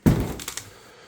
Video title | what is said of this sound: More Viewers Sent Me Some Proton Mystery Boxes - Lets Open Them! | it sounds plasticky when you shake it